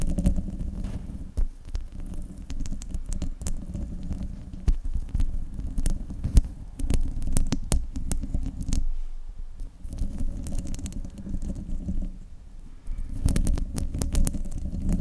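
Long nails scratch the hollow metal mesh grille of a silver desktop microphone, close up. The result is a deep, muffled rumbling with dense scratchy crackles and sharp ticks, fading briefly around nine and thirteen seconds before continuing.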